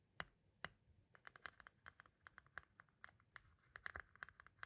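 A metal-tipped tool taps and scratches at the edge of the tape window on a white plastic audio cassette shell. Two louder sharp taps open the clip, followed by a quick, irregular run of small dry clicks and scrapes with a bright plastic tick. Each click stops almost instantly, all at a quiet level.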